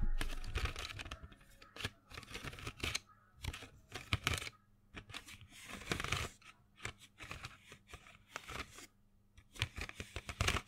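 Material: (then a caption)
Cardboard. A small printed cardboard box full of colored pencils is held in the hand and tapped and scratched with fingernails. Quick dry taps and rough scratching bursts come in uneven clusters, with short hollow knocks and papery rasping. The sounds fade fast, with brief quiet gaps between them.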